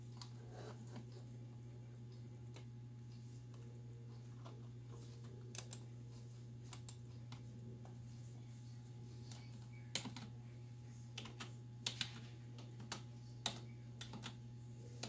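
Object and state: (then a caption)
Plastic computer keyboard. Long white acrylic nails and fingertips type on a black plastic desktop keyboard with hollow key switches, which sits on a wooden desk. Soft, quiet, irregular clicks and bright nail taps stand out over a steady low hum, with a few sharper, louder key strikes near the end.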